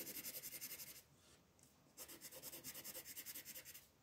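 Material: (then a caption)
Paper. A pink colored pencil is rubbed in short shading strokes across a sheet of white paper with a printed floral design lying flat on a table, while the other hand with long nails rests on the sheet. About fifteen quick, bright, scratchy strokes come in two bursts, separated by a brief quieter pause near the middle.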